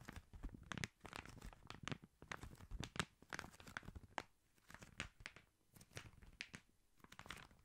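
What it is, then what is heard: Gift-wrapped paper tube. Fingertips and nails scratch and tap the wrapping paper on a long, red, Christmas-paper-wrapped cylinder, likely a hollow cardboard tube, held horizontally. Quiet, dry bursts of papery crinkling and rustling alternate with soft taps, each dying away instantly with no ring.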